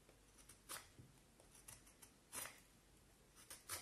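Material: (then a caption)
Wood. A black knife whittles the end of a solid peeled vine wood stick held upright, making seven short, dry scraping cuts. The cuts are bright and crisp with quick decay, spaced irregularly over a quiet background.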